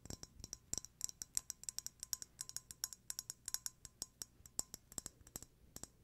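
Fingertips and nails click and tap rapidly on the black lid of a small glass candle jar filled with white wax. About 39 quick, dry, bright clicks come in an uneven rhythm, each stopping almost at once with no ring, over a faint hiss.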